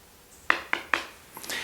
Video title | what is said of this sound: 삼성 더프레임 벽걸이 TV 실소유자 솔직한 사용후기리뷰 및 활용방법 (SUB) | 콘크리트 벽 이기 때문에 딱딱하게 돌 소리가 나 줘